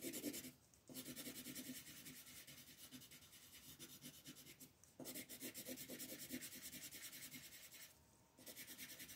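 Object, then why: Wooden colored pencil rubbed on a paper page. A yellow wooden colored pencil is rubbed firmly over a flat sheet of white paper with a floral print in repeated shading strokes. It makes a dry, bright, raspy scratching with a quick back-and-forth rhythm, heard in three bursts separated by brief pauses.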